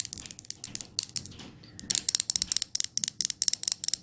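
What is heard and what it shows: Long nails tap and scratch the lid of a glass jar candle. Quick, bright clicking taps come in an uneven rhythm, softer and mixed with scratchy rustling in the first half. About twenty sharper, louder taps follow in the second half, each ending almost at once.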